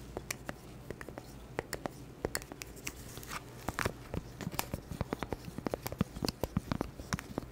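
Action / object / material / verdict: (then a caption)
tap / small round cork board tapped and scratched with plastic nails / cork / none. A small, round, flat, solid cork board held in a green-gloved hand near the mic is scratched and tapped with long black plastic claw nails. Quick, dry clicks and taps with brief bright scratchy bursts patter irregularly over a steady low hum, each tap dying away almost instantly.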